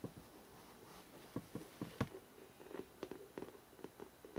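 Fingertips and short nails fast-tap the glossy paper front cover of a large, solid hardcover photo book with a New York skyline cover, lying upright. The result is a quiet, irregular run of quick, soft, dull taps, low in tone with almost no ring, with a few sharper clicks standing out.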